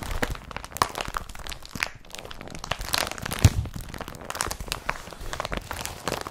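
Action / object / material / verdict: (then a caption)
scrape / woven polypropylene carrier bag / polypropylene / none. An empty blue woven polypropylene IKEA BRATTBY carrier bag lies flat on a table and is rubbed and pressed with fingertips and nails. The result is a dense, continuous crinkling and crunching with bright, scratchy rustles and occasional sharper cracks, steady in level throughout.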